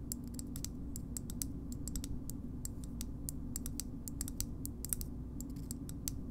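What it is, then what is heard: Plastic bottle opener. Long nails tap and scratch a hollow green plastic bottle opener, making a steady run of quick, dry, high clicks. A constant low hum sits underneath.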